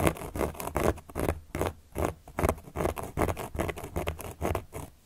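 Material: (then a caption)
Cork. A carving tool, held upright by long nails, traces across the surface of a large, round, solid cork board. It makes a quick, uneven series of short, dry scratching strokes, each soft and full in the low range with little brightness. Each stroke stops almost at once with no ring.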